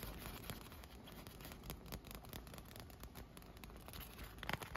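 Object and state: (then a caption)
Inflatable vinyl pool float. Fingernails tap and scratch the surface of an air-filled, inflated PVC vinyl pool float with a teal leaf print and cup holes. The result is a quiet, steady stream of soft, dry scratching and patter with short, crisp taps that die away instantly. A few louder taps come near the end.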